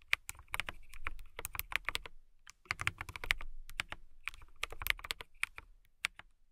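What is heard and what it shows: Fingertips with long nails type on a transparent mechanical keyboard with clear plastic keycaps. Quick, bright, clicky taps come in bursts, with a brief pause near the middle, and each keystroke has a short sharp tone around 2 kHz and a light low thud underneath. The clicks stop instantly, with almost no ring.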